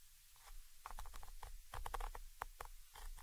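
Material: Metal mesh.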